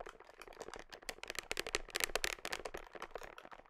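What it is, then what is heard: Plastic protein powder tub. Long nails tap and scratch the side and red label of a large, hollow black plastic whey protein tub held against the body, close to the microphone. Quick, irregular, dry clicks with bright, crisp scratching follow one another rapidly, with little low end. The taps die away almost instantly, with no ring.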